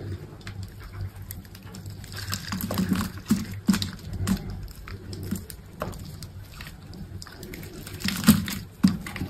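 A steel utility blade scrapes across and cuts cubes off a solid, grid-scored bar of green soap held in the hand. Soft, papery scraping runs throughout over a steady low hum, broken by irregular crisp snaps and cracks as pieces break away, the sharpest near the middle and toward the end.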